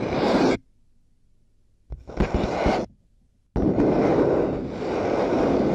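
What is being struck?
Plastic headphone earcups.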